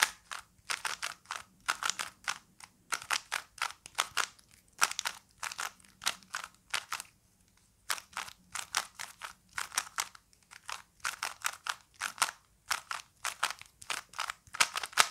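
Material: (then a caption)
Plastic. A small plastic Rubik's cube is held in both hands while fingers turn its layers quickly. This produces rapid bursts of dense, crisp plastic clicks and clacks, with a brief pause in the middle before the turning resumes.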